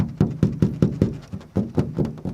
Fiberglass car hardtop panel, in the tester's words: listen to how, I don't know if you can hear it tapping, how hollow it sounds